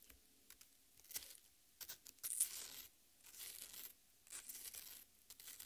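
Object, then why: Half watermelon, soft flesh. Long red nails scratch and tear into the soft, wet red flesh of a watermelon half resting on a plate. The result is a quiet series of bright, crackly tearing and scraping bursts with almost no low end, separated by short pauses, with a few longer, denser stretches of wet shredding.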